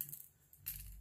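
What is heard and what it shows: A frosted glass setting spray bottle with small mixing balls inside is shaken, producing quiet, bright rattling clicks from the balls against a low background rumble. A louder burst of rattling near the end is the balls being shaken so the spray is mixed before use.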